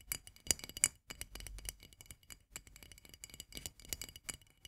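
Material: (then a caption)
Glass. Long nails tap quickly on the glass body of a full jar of marmalade. The result is a rapid, irregular run of bright, clicky taps with very short ring and little low end.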